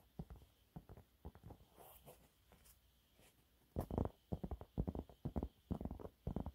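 Fingernails on both hands quickly scratch a yellow waffle-textured cleaning cloth held upright. The result is a string of short, dry scratching bursts, weighted low with little ring, in an irregular rhythm. Softer, scattered strokes in the first half give way to a louder, denser run of scratches in the second.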